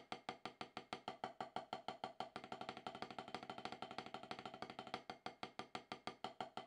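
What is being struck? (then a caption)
Rubber drum practice pad struck with wooden sticks. Two wooden drumsticks tap a solid, octagonal HQ rubber snare practice pad with a dark surface. Short, dry, woody knocks come in a steady stream, packing into quicker strokes through the middle before spacing out again. Each tap dies away almost at once, with no lingering ring.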